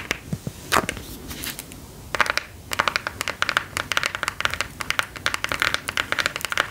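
Long gold claw nails tap and scratch a smartphone in a hard plastic case with a gear print, held flat at chest height. Sharp, dry, bright clicks come in irregular bursts that get faster and denser toward the end, with soft scratchy rustling between them. The taps stop dead with no ring.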